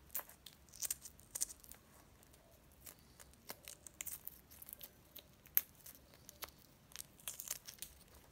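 Fingertips and nails crack and peel the thin, brittle brown shell off a hand-held hard-boiled egg, exposing the white. Quiet, bright, dry crackles and crinkly tearing snaps come in irregular bursts over a faint low background. Each snap dies away almost instantly.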